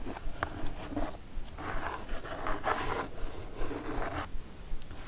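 Long nail tips scratch across the printed surface of a kraft cardboard mailer box, the packaging of a Divoom Ditoo-Mic retro pixel art karaoke set. Quiet, dry, rasping strokes come in uneven bursts over a faint low rumble.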